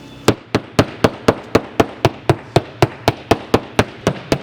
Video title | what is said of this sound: Smart Boating 255 - Marine Survey | you want a good, sharp, solid sound like that